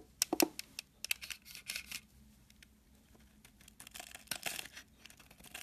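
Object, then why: Bar of soap shaved with a small blade. A small metal blade scrapes and shaves a solid oval white soap bar held in a hand with long dark nails. It makes quiet, bright, crisp scratching and crackling bursts with sharp flaky onsets. There is a dense cluster of strokes at the start, a lull, then another run of scrapes toward the end.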